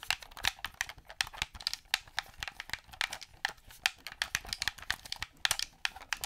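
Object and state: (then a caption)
Plastic game controller. Fingers and nails press the buttons and tap the body of a black, hollow, hand-held plastic gamepad controller. A fast, irregular run of sharp, dry, bright clicks and taps follows, each one stopping instantly with almost no low end.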